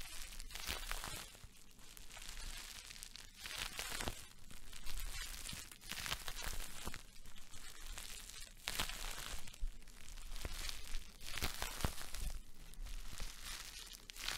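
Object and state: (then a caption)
Plastic bubble wrap being crumpled. A large clear plastic bubble wrap sheet is held in both hands, waved and crumpled with the fingers close to the microphone. It gives bursts of crisp, bright crinkling and crunching that come and go over a steady low rumble.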